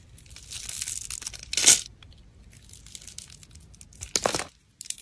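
A black utility blade shaves small sticks and cubes off a solid white-blue soap bar carved in a grid pattern, held in the hand. Bright, crisp scraping and crumbly crunching are heard, with two louder sharp cuts standing out.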